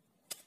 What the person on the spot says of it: Quando viene premuta, questa bottiglia si ammaccerà e emetterà un suono , il che significa che questa bottiglia di ecobrick è meno densa.